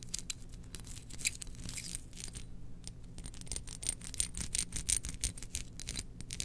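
Long nails scratch and tap a small domed glazed ceramic lid from a Death Star jar held in one hand. Quick, irregular bursts of bright, dry scratching and light clicks run throughout, with a faint thin high ring and a low, steady rumble underneath.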